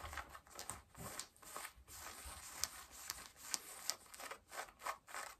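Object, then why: Denim jeans. Long nails scratch pale yellow denim jeans at the hip and back pocket, producing a run of short, dry, bright rasping strokes with brief pauses between them. The sound is quiet, fabric-textured and mostly high, with sharper crisp ticks on some strokes and almost no low end.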